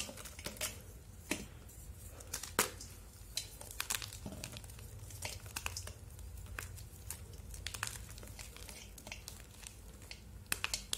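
Palm-sized chunks of solid pink dyed gym chalk are crushed, snapped and crumbled between bare fingers above a steel bowl full of pink chalk pieces. Many sharp, bright, dry cracks and crunches pop out irregularly over a soft, steady crumbling hiss. Each snap is short and dies away almost at once.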